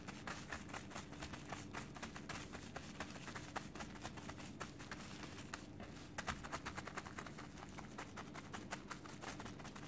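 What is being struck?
Cooked rice ball wrapped in plastic film.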